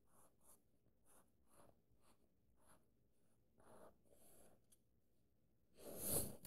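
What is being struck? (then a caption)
Paperback book paper pages. Fingertips and nails trace and scratch along the printed paper of an open paperback book at a chapter page, and fingers turn a page. Soft, quiet, dry scratching strokes with a bright hiss repeat in short bursts. The clip ends in a louder, fuller papery rustle.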